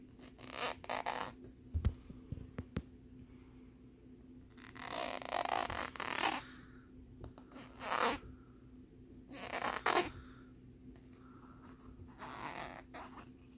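Fingernails scratch across the ridged surface of a thin plastic lenticular bear card held in both hands. Short, bright, raspy scrapes and a few sharp clicks give way to longer rough swipes, separated by quiet gaps over a steady low hum.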